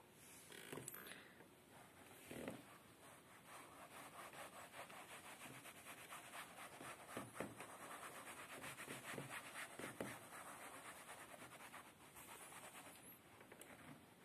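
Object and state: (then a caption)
Upholstered fabric chair seat. Fingertips and short nails rub and scratch the padded, solid beige woven fabric cushion of an upholstered chair seat. The result is a soft, steady, dry rasping hiss with brief louder scratchy strokes scattered throughout.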